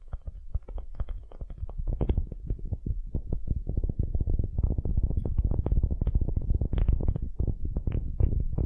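Long nails scratch the end grain face of a solid, light wooden cube in quick, dense strokes. The result is a steady, low, rumbling rasp with occasional brighter scrapes, growing slightly louder after the first few seconds.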